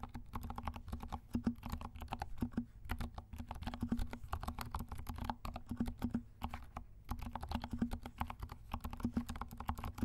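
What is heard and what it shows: A compact 68-key mechanical keyboard with dark plastic keycaps and silent switches is typed on with the fingertips of both hands. It makes a steady stream of soft, muffled, low-heavy taps with a faint hum near 230 Hz, easing briefly around 3 and 7 seconds before resuming. The keystrokes stay quiet and dull with almost no bright click.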